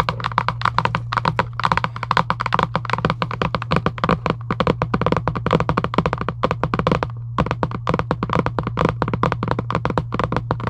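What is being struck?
Large cardboard game box.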